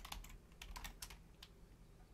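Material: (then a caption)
Plastic. Both hands, with long painted nails and fingertips, rapidly type on a black plastic Logitech full-size keyboard with a hollow shell and membrane keys. Quick, bright plastic clicks and taps sound over a low, steady hum.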